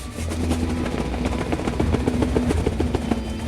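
A brown cardboard box with fragile tape, labeled 8 by 8 by 8 but measuring 8 by 8.5 by 8.5 and weighing 1,200 grams, is shaken before being opened to hear its unknown contents. A steady, low-heavy rattling and thumping from the contents shifting inside runs throughout.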